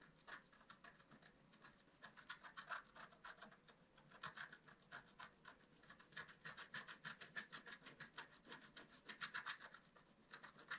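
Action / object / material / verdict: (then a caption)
scrape / wooden stylus on black-coated scratch-art card / coated paper / none. A wooden stylus scratches leaf veins into a flat, black-coated scratch-art card. It makes quick, irregular, dry rasping strokes with a bright, papery edge, clustered in short bursts that rise and fall in loudness. There is almost no low end.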